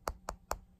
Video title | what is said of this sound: Review of What Price Glory Reproduction M1938 Resistol Goggles | the lenses are made of glass. You can probably hopefully hear the difference in the material when I knock on them